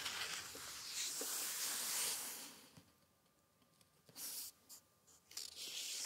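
Palms and fingertips rub and smooth across the yellowed paper pages of a large old open hardback book resting on a wooden book stand. A steady, bright, hissy rustle fills the first few seconds, then fades to near silence. It is followed by several short, crisp bursts of paper swishing.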